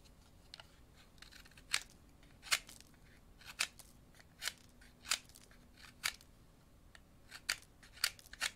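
A thin, solid wooden pencil held in the left hand is shaved with an orange-handled utility knife blade held in the right hand, dropping wood shavings onto a paper napkin. A series of short, crisp, bright scraping cuts stands out from a quiet background, each snap dying away almost instantly.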